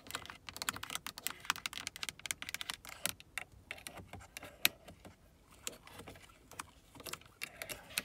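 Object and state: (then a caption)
Plastic car door switch panel. Long acrylic nails tap and scratch across a carbon-fiber-look hard plastic window and mirror switch panel on a car door, a hollow molded trim piece, and over its buttons. The result is a rapid, uneven run of sharp, dry, bright clicks with very short ring, mixed with soft scraping between taps.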